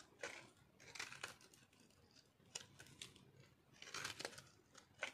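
A metal knife cuts into a solid, speckled, dry soap bar held in the hand, crumbling it. The result is a series of quiet, dry, crunchy scraping bursts, mostly bright and crisp, with very little low end.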